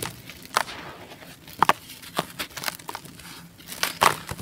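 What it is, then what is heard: Dry sand-cement block crumbling. Bare hands and fingertips break and crush a solid, dry, gray-beige molded sand-cement chunk into loose gritty powder in a basin. Sharp, dry cracks and bright gritty crackles come in quick bursts over a soft, continuous crumbling hiss. Each snap dies away almost instantly.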